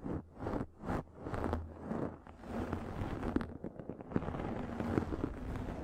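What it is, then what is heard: Microfiber makeup remover pad. Long nails scratch and tap a round, pink, fluffy microfiber makeup remover pad held over the mic. Rhythmic swells of soft, muffled scratching give way to a denser, crackly rustle with sharp little taps. The sound stays close and heavy in the lows, with little brightness on top.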